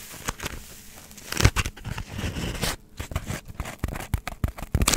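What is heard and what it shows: A hand-sized, solid block of white polystyrene foam is scratched with long nails. This makes bursts of dry, crackly scraping with squeaky, tearing-like texture and a dull low body. The strokes come in quick uneven bursts with brief quiet pauses, and each one stops almost at once.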